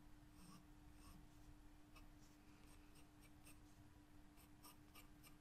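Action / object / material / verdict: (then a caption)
scrape / graphite pencil on a paper sketchbook page / paper / none. A graphite wooden pencil, held by a hand with long yellow nails, scratches and draws lines across a white paper page of a spiral-bound sketchbook lying flat on a table. Soft, dry scratching strokes come in short bright bursts over a steady low hum and a faint constant tone. The sound is quiet throughout.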